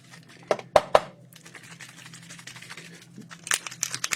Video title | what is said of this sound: Stunning Fall Journal with Devid Roodenburg - Golden Season Collection by Elizabeth Craft Designs | There's the ball rattling. Shake it shake shake.